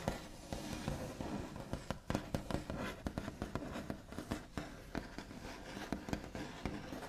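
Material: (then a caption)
Wood. Both hands tap quickly with the backs of the nails on the large, solid, smooth top of a white-finished wooden table. Dry, scratchy clicks come in a rapid, uneven stream over a soft, continuous scraping texture. The sound is weighted low and dies instantly, with no ring.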